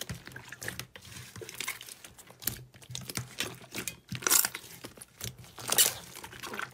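A large mass of soft, fluffy green slime in a stainless steel bowl is kneaded, pressed and squeezed by both hands with fingertips and palms. It makes a quiet, uneven run of bright, crackly, crunching and crinkling squishes, with a couple of louder, sharper crackles near the end.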